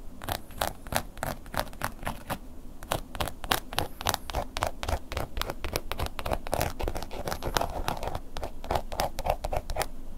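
A wooden ear pick scratches the surface and edge of a black woven-embossed leather long wallet lying flat. The result is a fast, uneven series of short, dry scratching strokes, each with a bright, crackly edge and almost no ring, over a low, steady background rumble.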